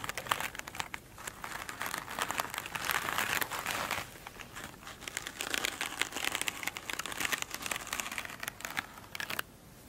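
Long acrylic nail tips tap and scratch the glittery top of a flat, oblong foam sponge lying on a table. The result is a bright, dry crinkling and crackling texture made of dense, rapid ticks, swelling into busier scratching passages around the middle before thinning out at the end.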